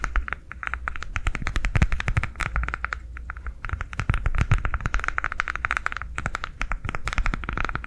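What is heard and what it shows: A green ridged silicone coaster, rolled into a hollow cylinder and held upright, is tapped and scratched with long nails. Rapid, light clicks and scratchy taps come in a dense, steady stream with a hollow, tube-like ring in the mid range over a soft low thump. Each tap dies away almost instantly.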